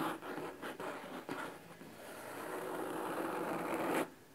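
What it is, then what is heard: Cloth-covered hardcover book scratched. Fingernails of both hands scratch the cloth top cover of a large red cloth-bound hardcover book resting on a wooden table. Short, dry, raspy strokes give way to a steadier, brighter scratching that builds in loudness and then stops abruptly near the end.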